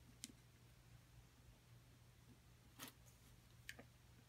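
A thin metal pick taps and scrapes into the crumbly surface of a solid plaster dig block held by a hand with long nails. Three short, bright ticks stand apart over a steady low hum, the middle one a slightly longer scrape, each dying away almost instantly.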